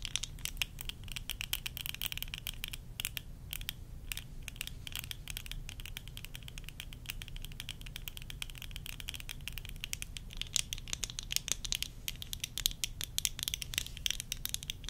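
Long nails tap rapidly on worn tortoiseshell plastic eyeglasses, first along the temple arms and then on the lenses. The result is a dense stream of short, dry, bright clicks with a strong ring around 3.3 kHz, over a steady low hum.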